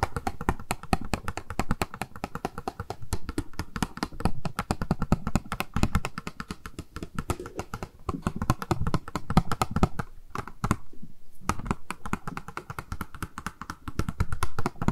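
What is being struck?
Small plastic makeup box.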